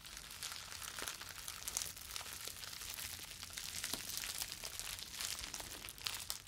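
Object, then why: Plastic bubble wrap sheet. A clear plastic bubble wrap sheet is crumpled, then stretched between both hands and crinkled with the fingers. The result is a continuous, bright crinkling and crackling with many quick snaps and sharp clicks over a faint low hum.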